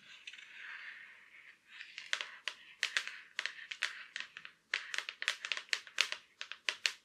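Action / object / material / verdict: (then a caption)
tap / thin laptop lid shell / unknown / none. Long black acrylic nails tap and scratch on the surface and edge of a silver Acer laptop lid with a thin hollow shell. A soft scratchy rustle in the first second and a half gives way to a run of sharp, bright clicks with a papery hiss, close and dry, with almost no low end.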